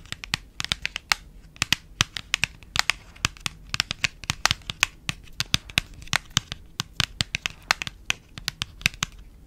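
Long acrylic nails tap and scratch the surface of a small, hand-sized cream printed paperboard box that is empty or nearly empty, held close to the mic. The result is a rapid, irregular run of dry, bright clicks and scratchy rustles with almost no ring, over a faint low hum.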